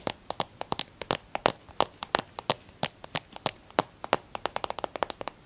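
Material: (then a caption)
Plastic. Long red nails tap quickly on a filled white plastic squeeze tube of hand and nail cream held in the hand. Dozens of sharp, dry, bright clicks come in an uneven rhythm, each dying away almost instantly against a quiet background.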